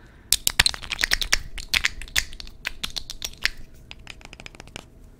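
Fingernails tap and scratch along the studs and cap of a studded black glass perfume bottle. A rapid series of short, dry, bright clicks and scrapes rings off almost instantly, loudest early on and growing quieter toward the end.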